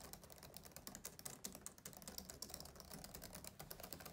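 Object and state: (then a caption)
Plastic laptop keyboard. Both hands type fast with short-nailed fingertips on a black plastic laptop keyboard with low chiclet keys on a closed-deck laptop. The result is a quiet, dense stream of bright, clicky key taps with very short decay over soft low thuds.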